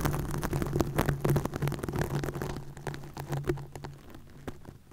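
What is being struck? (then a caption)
Plastic mesh net over a microphone. Long nails scratch and rub a green plastic mesh net stretched over a microphone, making a dense run of close, crackling scrapes and taps with a low hum beneath them. The scratching is loudest early on and gradually softens and thins out toward the end.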